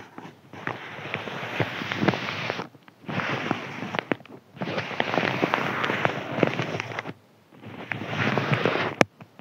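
A thin white crinkly paper sheet is scratched with the fingernails of both hands, making dense, crackly rasping with sharp ticks across a broad, bright range. The scratching comes in four bursts separated by brief near-silent pauses, and a single sharp tick is heard at the very end.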